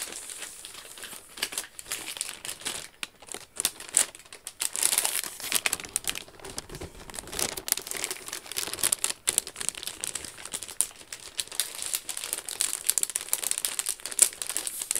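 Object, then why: Gift box wrapped in paper with a satin ribbon. Long acrylic nails scratch and tap a hollow, medium flat gift box wrapped in grey-white patterned paper and tied with a satin Versace ribbon. The result is a steady 15 seconds of bright, high-pitched paper crinkling and rustling, with quick dry taps scattered throughout and almost no low end.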